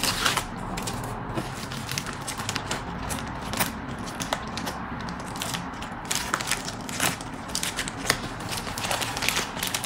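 A large pink metallic foil padded mailer with a bubble-wrap lining, apparently holding a packed order, lies on a white desk while flat palms and fingertips press down and rub across it to seal and smooth it. Dense, bright crinkling and crackling runs throughout, with sharp snaps standing out over a steady low rustle.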